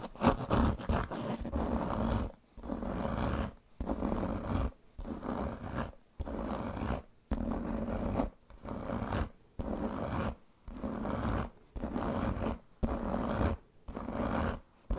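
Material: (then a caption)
Leather. Long painted fingernails scratch the pebbled surface of a large black leather handbag with a metal buckle, held against the body. Repeated rasping, low, growly scratching strokes each last about a second and are separated by brief silent pauses.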